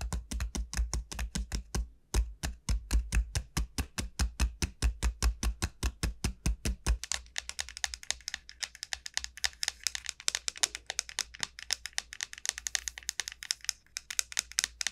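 Long nail tips tap rapidly across a large, elongated dried bottle gourd with a hard, hollow shell. For the first seven seconds each tap lands with a deep, hollow thump. The tapping then turns into a dense run of crisp, bright clicks with very little ring.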